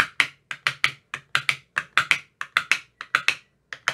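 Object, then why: Plastic ice cube tray tapped with a thin rod. A thin metal rod with a white rounded tip taps inside the hollow cells of an empty, translucent frosted plastic ice cube tray with 15 compartments. Eighteen short, dry, bright clicks come in an uneven rhythm, some in quick pairs. Each has a hollow, woody knock and dies away almost instantly.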